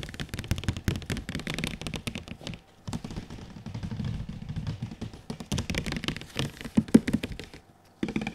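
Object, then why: Printed cardboard box. Fingertips tap rapidly on the front face of a large, glossy printed cardboard PS4 Pro console box held up in the air. The taps land as quick, dull, low-heavy knocks that die away almost at once, coming in dense runs with brief pauses near the middle and just before the end.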